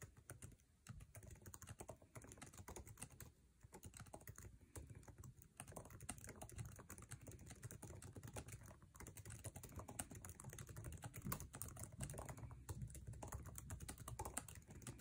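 Fingertips of both hands type fast on the backlit, low-profile scissor-switch keyboard with plastic keycaps of an aluminum MacBook Air resting on a table. A dense, rapid stream of short, dry key taps and clacks carries a soft low thump beneath a bright click, with brief lulls in the first few seconds before the typing runs steadily to the end.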